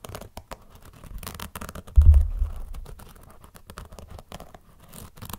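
Fingernails scratch and rub the synthetic, leather-like upper and foam sole of an empty black and white running sneaker in a series of soft, dry scraping strokes. A louder, deep bumping rub stands out around the two-second mark before the scratching fades back to quiet.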